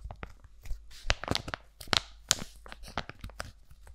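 A sealed, flat laminated foil-plastic sheet mask pouch is scratched, tapped with long nails and crinkled in the hands. Sharp, bright crackles and rustles come in quick separate bursts over a soft low rumble. Each burst stops dead.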